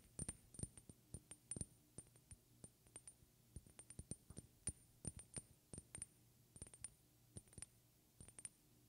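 Long red-painted fingernails tap a small, partly filled glass perfume bottle with a white cap in an irregular run of around 35 quick taps, some harder and some softer. Each tap is a short, sharp glassy click with a faint high ring that dies away almost instantly, over a quiet, steady low hum.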